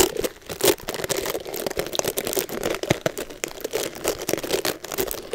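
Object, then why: Boar and nylon bristle hair brush. Long blue nails scratch and pluck through the dense bristles of an oval, black-bodied Mason Pearson boar and nylon bristle hair brush with a red rubber cushion, held in hand near the mic, to pull out hair. The result is a steady stream of dry crinkling scratches and quick crackly snaps, with a mid-range tone around 380 Hz and a bright, airy top.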